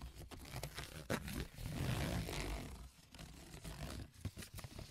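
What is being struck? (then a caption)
Corrugated cardboard sheet. A sheet of corrugated cardboard lying on a table is tapped and scraped with AA batteries worn as long nails. The sound is a dry, low, crinkly scratching with short tapping bursts, swelling into a sustained rough scrape before settling back into lighter taps.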